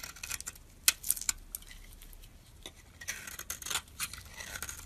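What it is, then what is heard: Bar of soap being scraped. A hand-held solid bar of soap, purple on the outside with a white core, is scraped and shaved with a metal utility-knife blade. The result is a quiet, irregular series of short, crisp, bright scraping and crackling strokes. A few sharper clicks stand out early on, followed by longer shaving passes.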